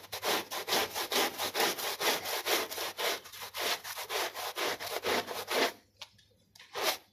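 A small brown and white foot-shaped textile pile rug, lightly soaped, is scrubbed vigorously with a plastic bristle brush. Rapid, rhythmic bristly rasping strokes run back and forth for about six seconds, then trail off into a few scattered scrapes and one last stroke.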